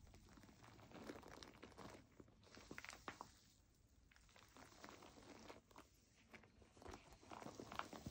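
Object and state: Plastic foam bath pillow.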